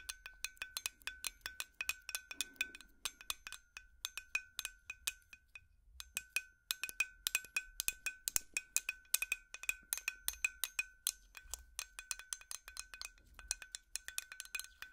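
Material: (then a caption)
Glass. A large, hollow, white frosted glass light bulb held in hands is tapped rapidly with plastic finger picks. The taps make a steady stream of bright, short glassy clinks with a faint ringing tone and a brief pause around the six-second mark.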